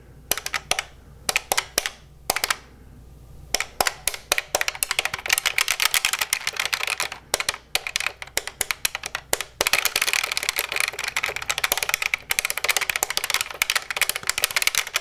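Fingertips rapidly press and tap the plastic buttons on the keypad of a large beige plastic office desk phone held in one hand, its hollow casing fitted with a keypad and display. Sharp, dry, bright clicks start in scattered bursts, then speed into a dense, continuous rattle of taps with almost no low end and no ring after each press.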